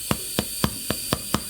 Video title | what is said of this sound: COOK WITH ME. COSORI Dual Zone Air Fryer Unboxing/Review CHICKEN JACKET POTATOES & BAKING BREAD. | you can hear the hollow sound now